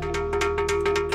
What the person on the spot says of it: चट्टानों के पत्थर से नगाड़े और बर्तनों की टकराने जैसी आवाज़ें